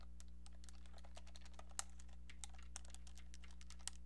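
A small brown hollow plastic novelty phone handset is held close and tapped with painted nails, giving quick, light, crisp clicks in an uneven rhythm. The taps are quiet and very short, with a few sharper ones standing out over a steady low hum.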